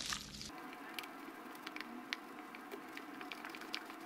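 A light-blue plastic spatula pokes, presses and stirs pink and yellow cloud foam slime in a small clear plastic jar held in the hand. A brief louder, fuller burst at the start gives way to a soft, steady bed of fine crackling, punctuated by sharp, bright little pops and squishy clicks.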